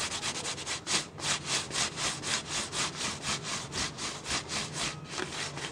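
A hand's fingertips and palm rub and scratch the side of a clear, ridged, hollow plastic drink bottle that appears empty, held close in the other hand. The result is a steady series of bright, crinkly scraping strokes, about four per second, each a short burst of hissy, high-pitched friction with a brief crackle and almost no low end.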